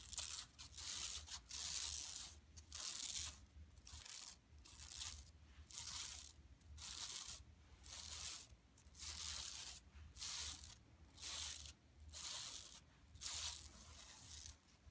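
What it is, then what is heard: Woven plastic mesh shopping bag being scratched. Long pink nails and fingertips of both hands scratch and rub the surface of a large, flat, yellow striped woven plastic mesh tote with a Buffalo Exchange print, lying empty on carpet. Bright, crisp rasping bursts come roughly once a second, separated by short quiet gaps, over a faint low hum.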